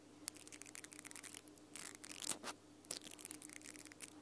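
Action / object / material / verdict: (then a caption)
scrape / plastic mascara brush with nylon bristles / nylon / none. Long nails scratch and strum the pink nylon bristles of a small plastic mascara spoolie brush on a black plastic wand. The result is quiet, bright, crisp bristly flicks and rasps, with a louder rustling swell midway, over a faint steady low hum.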